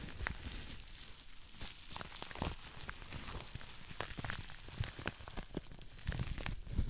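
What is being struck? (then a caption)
Plastic bubble wrap sheet. A green plastic bubble wrap sheet is held to one side while fingertips squeeze and pop its small bubbles. Sharp, bright snapping pops sound among steady plastic crinkling over a low handling rumble, and the pops grow louder near the end.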